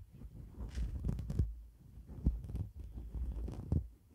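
Long black nails scratch and rub across a white shaggy faux fur windscreen on a microphone. The result is a muffled, low, rumbling scrape with soft thumping swells and almost no bright content.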